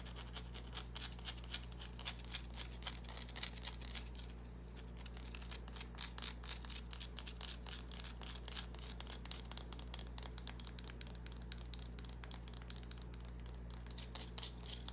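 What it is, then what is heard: Bar of soap, scratched and tapped. Long nails scratch and tap a small, solid green bar of soap in a dense, quick run of crisp, bright scratches and light ticks. A steady low hum runs underneath throughout.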